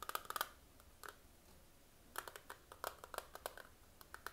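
Fingernails rapidly tap the clear patterned plastic lid and sides of a small, hollow, closed eyeshadow palette held in both hands. About nineteen short, dry clicks with a hollow mid pitch come in quick bursts, with a pause in the middle. Each click dies away almost instantly.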